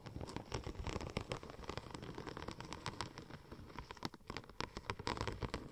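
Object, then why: Textured vinyl film sheet. Long nails tap and scratch across a curved sheet of silver checker-plate-pattern vinyl wrap film. A rapid, dense patter of light clicks and crackly scratches runs throughout, with short, dry hits and occasional brighter ticks over a soft low rumble.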